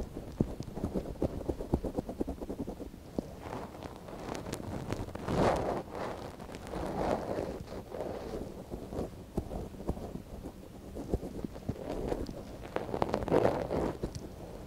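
A thin wooden stick scratches inside the canal of a soft silicone ear on a binaural microphone, the ear held in a gloved hand. Close, muffled scratching and rustling sounds as rapid, dense ticks, with soft swelling scrapes and little bright content.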